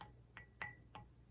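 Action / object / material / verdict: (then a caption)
tap / enamelled metal swan figurine / enamelled metal / metal. A decorative swan figurine of enamel on metal is tapped four times, each tap giving a light, bright metallic tick with a brief ring near 1.9 kHz. The tone confirms the figurine is metal rather than ceramic.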